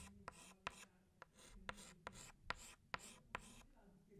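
A green chalk stick retraces leaves on a flat black chalkboard with short rubbing strokes. Sharp, clicky chalk taps sit over a soft, bright, scratchy rubbing hiss.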